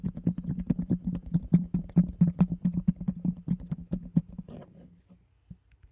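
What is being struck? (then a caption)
Round plastic container with lid. A round, hollow, empty plastic container with a yellow lid is held close and tapped and scratched with fingertips and nails. A quick, uneven run of hollow knocks rings at a low pitch. The tapping thins into a brief scratchy rustle and a few faint final taps.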